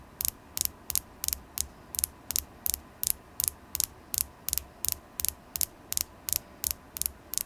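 A polished, solid orange carnelian (chalcedony stone) tower point, about palm length, is held in one hand and tapped with long glittery acrylic nails. About 21 crisp, bright clicks come in a steady rhythm, each dying away almost instantly, over a faint low hum.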